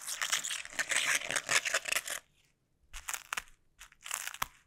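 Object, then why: Plastic bubble wrap sheet. Sticky, taped fingertips tap and press on a clear plastic bubble wrap sheet, giving bright crinkly, crunching bursts with many quick sticky clicks. A dense stretch of crackling runs for about two seconds, then stops. After a short silence, separated taps and presses follow, ending with a sharp pop-like click.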